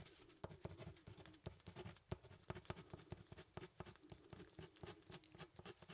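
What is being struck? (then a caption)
Hardboard clipboard with metal clip. A pen writes and scratches on a thin, solid brown hardboard clipboard with a metal clip, making short tapping strokes. Quiet, dull, low-heavy taps come in a rapid, uneven patter over a soft scratchy texture. Each tap dies away almost instantly.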